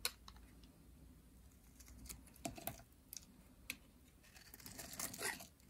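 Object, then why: Bar of soap scraped with a metal blade. A metal blade scrapes and carves a dry, solid purple soap bar over a pile of flakes, the bar held in hands with long nails. Quiet, dry, bright scratches and crisp crackling flicks come in short bursts, each dying away almost instantly, with a longer, rougher scraping stretch near the end.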